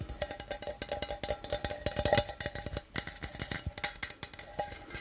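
A small, hollow aluminum energy drink can is held close and tapped with the fingertips on its body and base. The result is a quick, irregular run of short, hollow, tinny taps with a faint metallic ring and bright edges that fade almost at once.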